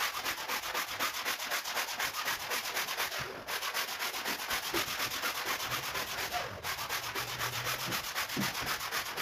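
A long-handled stiff-bristle brush repeatedly scrubs a large, wet, foamy woven rug lying on a marble floor. Steady, rhythmic strokes come about four times a second, producing a bright, bristly rasping hiss. The scrubbing has brief breaks just after three seconds and again after six and a half seconds.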